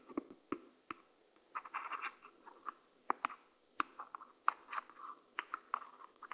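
A white and black plastic PlayStation 5 DualSense controller, hand-sized and hollow, lies on a dark mat and serves as the microphone while a purple plastic pen-like tool held in a hand with pink nails taps and scratches its buttons and shell. Many short, dry clicks and brief scratchy bursts sit around a mid-range plastic tone near 1.2 kHz, with no low end and almost no ring.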